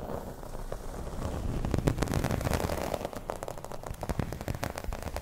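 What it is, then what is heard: Embossed vinyl placemat being scratched. Long red nails scratch a round, dark green, thin and flat embossed vinyl placemat with a raised scale pattern. The textured surface gives a dense, crackly, irregular scratching with quick bright ticks over a heavy low rumble. The scratching builds slightly in the middle and keeps going throughout.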